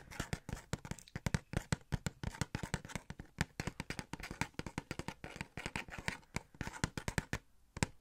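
Fingertips and nails tap rapidly on a small, hollow cardboard Star-Lord Funko Pop box with a clear plastic window and the figure inside. The result is a quick, uneven run of short, dry taps: hollow low thumps mixed with lighter, brighter clicks that stop almost instantly.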